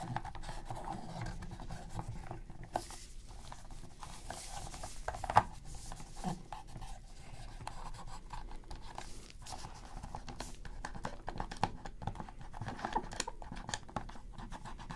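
Gloved hands hold a black PS3 controller with a hollow plastic shell while a cotton swab scratches and rubs around its face buttons. The result is a quiet, steady stream of soft scraping and rubbing with small, dry clicks and taps scattered throughout, centered in the low-mid range over a faint low hum.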